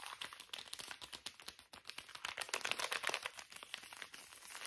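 The back side of a small, full, soft plastic wet wipes pouch is stretched and crinkled between both hands. It makes a dense run of quick, dry crackles and crinkles, bright and thin with no low end, growing busier and louder around the middle before settling back.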